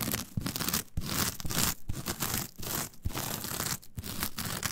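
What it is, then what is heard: Coir fiber mat. Long nails quickly scratch the surface of a flat, brown, coarse, fibrous coir mat. The result is a dense run of rough, bright scratching and crackling strokes over a low body, broken by brief pauses.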